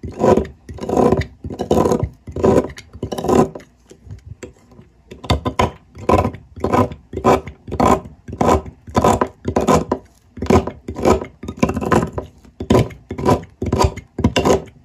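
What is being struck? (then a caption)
Block of olive oil soap scraped by a metal blade. A metal blade scrapes and shaves the end of a large, solid, rectangular green olive oil soap block held in one hand on a table, piling up shavings. A steady series of short, rasping scrape strokes sounds, each a dry broadband burst, with a brief quieter pause partway through before the strokes resume at a regular pace.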